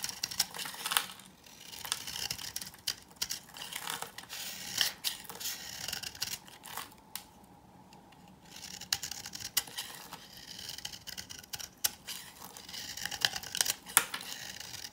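A knife with a green handle scrapes and cuts curls off an old, dry, solid green bar of soap held in the hand. Dense, bright, crisp scratching and crackling comes in rapid bursts, with a brief quiet pause in the middle before the scraping resumes.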